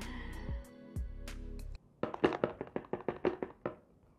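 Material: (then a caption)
Cardboard. Background music plays for the first couple of seconds. Then the sealed, bright green cardboard retail box of an Infinix Note 11S smartphone is shaken, giving a quick run of dull, hollow knocks and thunks as the contents shift inside. The box sounds rather empty, though it holds the phone plus quite a lot of accessories.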